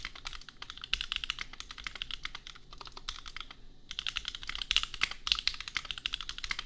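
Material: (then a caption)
Plastic. Both hands type with fingertips on a compact 65% custom mechanical keyboard with Gateron Milky Yellow switches and red and pink plastic keycaps, resting on an anime desk mat. A rapid, steady stream of short, bright plastic clacks plays with almost no ring, broken by a brief lull just before the four-second mark. The typing then resumes with some louder key strikes.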